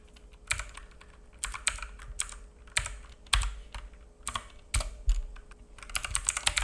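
Fingertips of both hands type on a black full-size mechanical keyboard with plastic keycaps and a hollow case, resting on a wooden desk. Irregular bursts of sharp, bright clacks, each with a low hollow thud, fade quickly. A faint steady hum sits underneath.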